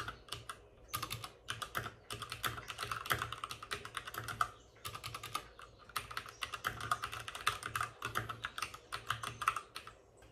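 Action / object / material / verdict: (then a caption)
tap / plastic mechanical keyboard / plastic / none. Both hands type with short-nailed fingertips on a white full-size plastic mechanical keyboard with plastic keycaps and RGB backlighting, resting on a desk with a padded wrist rest. Quick bursts of crisp, bright clacking taps stop dead with no ring, broken by brief pauses. The low thump of the strokes sits under the sharper click of each key.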